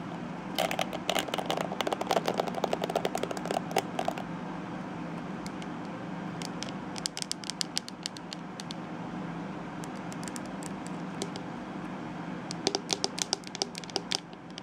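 Long nails scratch along the bristles and the edge of the glittery shell of a small, hollow plastic detangling hairbrush. Dense bursts of bright, crackly scratching come from about 0.5 to 4 seconds, sparse clicks follow, and another cluster of scrapes arrives near the end over a steady low hum.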